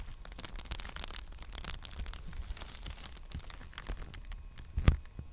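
Fingertips tap and scratch the surface of a large, empty black poly bubble mailer envelope held upright. A steady stream of soft, crinkly scratches and brief dry taps carries a low rumbling undertone, and a heavier thump stands out near the end.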